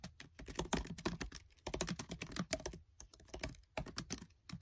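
Fingertips with short nails type fast on the black plastic keys of a MacBook Air keyboard set in an aluminium body. Short, crisp clicks with a low thud fall in dense bursts separated by brief pauses, each click dying away almost at once.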